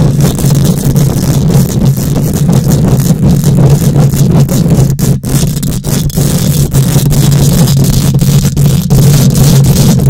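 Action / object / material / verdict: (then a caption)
scrape / metal wire-mesh microphone grille / metal mesh / none. Long acrylic nails and fingertips of both hands scratch and rub directly on the rounded metal wire-mesh grille of an uncovered, hollow, fist-sized condenser microphone head. The result is a dense, continuous, booming rumble of rapid scraping strokes, dominated by low frequencies with a steady low hum underneath. A few brief dips break the texture.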